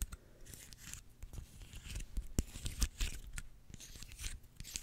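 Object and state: Dry pine cone.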